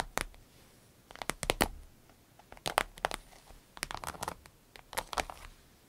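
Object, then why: Vinyl zip pouch. Long red nails tap rapidly on the top of a small green-yellow vinyl zip pouch resting on a dark surface. The result is clusters of quick, crisp, crinkly taps with bright edges, each stopping dead with no ring, separated by short quiet gaps.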